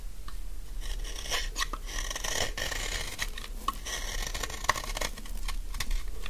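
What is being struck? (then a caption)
Bar of soap shaved with a blade. A solid, dry yellow bar of soap held in the hand is shaved with a utility knife blade, producing crumbly shavings. The clip is a steady run of soft, dry scraping and crackling strokes with brief brighter crisp clicks, over a constant low rumble.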